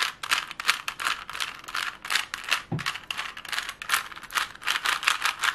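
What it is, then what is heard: Plastic Rubik's cube. A plastic Rubik's cube is twisted and tapped with long nails, producing dry, bright clicking rattles in quick, uneven bursts. The clicks are short with almost no ring, and a brief low thud sounds once midway.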